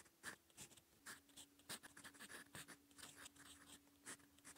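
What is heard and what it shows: A gold metal fountain pen nib scratches across a cream lined notebook page, writing in purple ink. Quiet, bright, dry scratching strokes come in quick irregular bursts, with a faint steady hum underneath.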